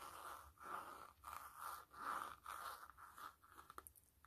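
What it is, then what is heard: Faux leather glasses case. A black, hand-sized, hollow faux-leather flat glasses case with a blue lining is held open and handled while long glittery acrylic nails tap and scratch it. Soft, dry scratching swells in repeated strokes with a mid-toned rasp, followed toward the end by a run of light, quick taps. The sound is quiet and close, with little lingering ring.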